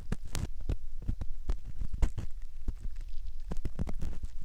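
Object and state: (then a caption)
Silicone ear model. A metal ear pick scrapes inside the canal opening of a soft silicone ear model, close up. It makes a dense run of short, muffled scratches and soft thumps, heavy in low rumble, with a few brighter scraping streaks and almost no ring after each stroke.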